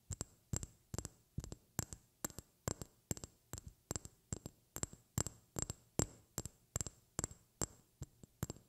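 A small, clear, hollow glass vial is held up close to the mic and tapped with long red-painted fingernails. Its 29 crisp clicks, mostly in quick pairs at a steady pace, each carry a low thump and a brief bright glassy ping that dies away almost at once.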